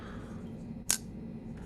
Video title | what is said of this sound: ASHER KNIVES NOMAD REVIEW GOOD & BAD | it sounds hollow because it doesn't have steel liners